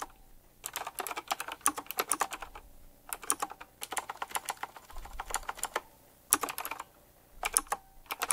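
Fingertips type rapidly on a retro typewriter-style mechanical keyboard with round plastic keycaps and metal rims. Bursts of quick, sharp, bright key clicks are separated by short pauses, with each click dying away almost at once.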